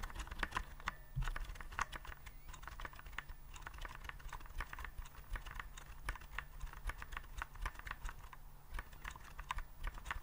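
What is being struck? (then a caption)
Plastic keyboard with round keycaps. Fingertips type rapidly on the round keycaps of a white plastic typewriter-style keyboard held upright. The result is a quick, steady stream of short, dry clacks with bright edges, over a constant low hum.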